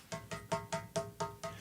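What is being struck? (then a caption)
Glass CRT television screen. Seven finger taps on the big, heavy glass screen of a widescreen HD Toshiba CRT television. Each tap gives a short, hollow knock with a ringing tone around 660 Hz and bright overtones that die away quickly.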